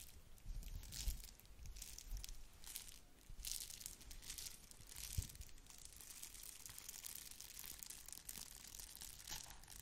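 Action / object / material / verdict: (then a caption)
scrape / plastic bubble-wrap mailer / plastic / none. Long nails scratch and crinkle the bubbled surface of a small, flat red plastic bubble-wrap mailer held in one hand. The result is a steady stream of quiet, bright crackling with dense clustered scratches and soft low thumps throughout.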